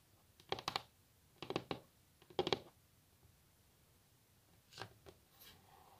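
Long nails tap a solid varnished wooden tabletop in three quick clusters of three sharp, dry clicks with almost no ring. Then two softer taps and a faint brushing sound follow as the hands are laid flat on the table.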